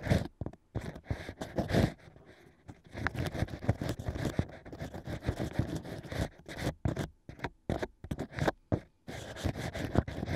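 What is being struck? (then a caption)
Natural cork with holes, scraped by a bamboo pick. Bamboo ear picks scrape inside the holes of a stack of natural wine corks. The result is a series of short, dry, crunchy scraping strokes with brief pauses, mostly low and muffled, with some brighter scratchy texture.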